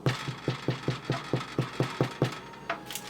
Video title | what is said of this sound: Gorgous Rye Loaves | always check your bread you flip it over it sounds Hollow it's done